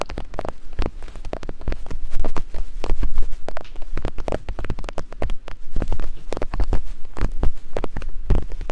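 Thin wooden picks, one in each hand, tap and climb over the silicone ears of a binaural microphone. The result is a rapid, uneven patter of short, dull taps with a heavy low thump and little brightness, each tap dying away almost at once.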